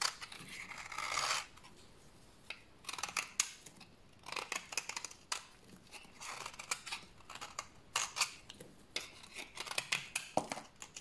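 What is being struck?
Bar of soap scraped with a knife blade.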